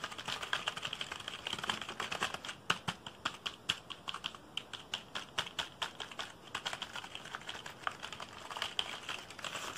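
A black plastic computer keyboard, held diagonally, is typed on fast with fingertips. Rapid, bright, dry key clicks and taps tumble over each other in quick bursts with almost no low end, each tap dying away instantly.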